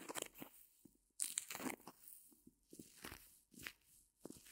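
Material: Foam.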